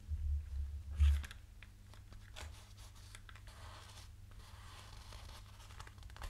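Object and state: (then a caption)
Plastic headphones. Pink plastic headphones held in both hands have their earcups and headband tapped and scratched with fingernails. Soft clicks and dry scratching sit over a steady low hum, with the louder handling early on before settling into quiet, continuous scratching.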